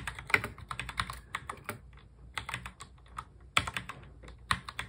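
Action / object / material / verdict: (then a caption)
tap / plastic mechanical keyboard / plastic / none. A full-size black plastic mechanical keyboard is typed on quickly with the fingertips of both hands in fast touch typing. A rapid run of sharp, bright key clicks and clacks comes in uneven bursts, with a brief lull near the middle before the typing picks up again. Each keystroke is short and dry and dies away almost at once.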